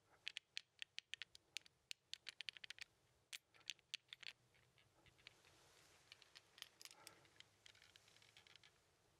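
A small plastic 15 sliding puzzle with red and white tiles is held in hand while a fingertip taps and scratches across the tiles. Quiet, crisp, bright clicks come in a quick irregular series, each dying away almost instantly. Midway the tapping gives way to a soft, continuous scratching rustle dotted with lighter taps.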